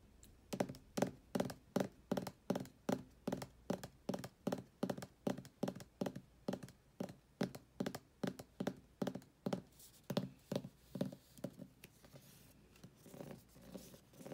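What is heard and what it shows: Fingertips and nails tap and scratch the glossy laminated card front cover of a thick paperback copy of *Ghosts of the Shadow Market*, held upright against a white wall. A steady run of quick, dull, hollow taps with short decay gives way to softer, papery scratching in the last few seconds.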